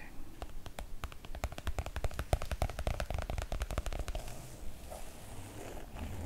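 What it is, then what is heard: Oilcloth make-up bag. Long coral nails scratch and rub across the glossy surface of a flat, light-blue floral Cath Kidston make-up bag made of PVC-coated cotton oilcloth, lying on a wooden table. For about four seconds there is a rapid, uneven run of sharp, crackly scratch ticks, which then gives way to a softer, continuous rubbing hiss.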